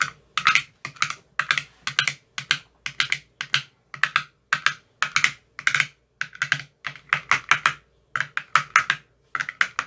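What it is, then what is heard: Empty plastic ice cube tray with silicone cells. A long metal rod with a white tip taps into the green silicone cells of an empty clear plastic ice cube tray. Quick, crisp clicking taps come in short double bursts with brief pauses between them. The sound is dry and bright, with a tone around 1.3 kHz and almost no ring.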